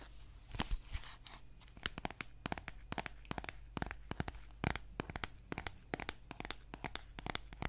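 Fingernails scratch and tap the cover of a solid green children's board book with thick laminated cardboard pages, held in both hands. About thirty sharp, dry clicks ring out over a soft, crinkly scratching, with no lingering ring after each tap.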